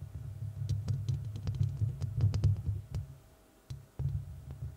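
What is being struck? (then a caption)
Metal mesh microphone grille. Long red nails on both hands scratch and tap the hollow, rounded metal mesh grille of a large studio microphone. The result is a dense, deep booming rumble around 100 Hz, broken by irregular sharp, bright clicks. The sound briefly drops to near silence before the scratching and tapping resume.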